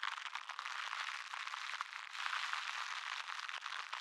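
A crumpled wad of clear plastic cling wrap is held close to the microphone and crinkled and rubbed between the fingers. It makes a steady, dense crackling rustle with no low end, spread from the midrange up into bright, hissy highs, briefly easing around the midpoint before swelling again.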